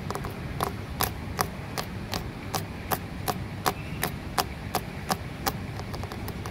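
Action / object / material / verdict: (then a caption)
tap / concrete flower pot / concrete / none. Long nails tap and scratch on the rough, porous wall of a concrete flower pot, close up. Sharp, dry clicks with a bright edge and almost no ring repeat at a fairly steady pace, about one every third of a second, over a low rustling scratch.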